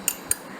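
A metal ear-cleaning tool is knocked twice against a heavy, solid iron light stand to shake off stuck earwax. Each tap is a short, bright metallic click that dies away almost at once, giving a dull, muffled knock.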